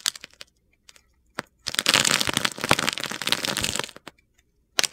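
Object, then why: Bar of soap cut with a knife blade. A solid purple bar of soap, held in a hand with long red nails, is shaved and carved with a metal utility knife blade. A few sharp, crisp clicks lead into about two seconds of dense, gritty scraping and crackling as the blade shaves the soap. It ends with scattered faint ticks and one last brief crunch.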